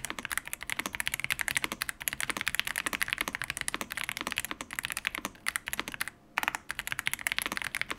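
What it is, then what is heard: Plastic mechanical keyboard. Fingertips of both hands type on a full-size stock Yunzii YZ98 mechanical keyboard with plastic keycaps. A fast, steady run of short, bright plastic clacks with almost no low end and no ring. The typing pauses briefly just after 6 seconds before resuming.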